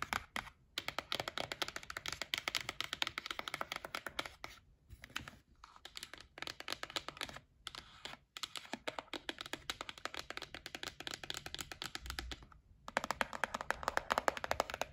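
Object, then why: Cardboard gift box. Long nails tap rapidly on the lid of a white printed cardboard gift box held in the hands. The result is a dense stream of short, dry, bright clicks with a hollow midrange tone, broken by a few brief pauses, and the final taps are slightly louder.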